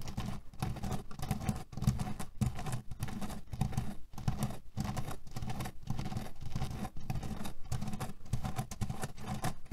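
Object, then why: Cotton pillow filled with cherry pits. Fingernails scratch quickly over a cotton pillow filled with cherry pits, producing a dense, continuous patter of soft rustling and gritty rattling. The sound is mostly low, with short pauses breaking up the steady scratching.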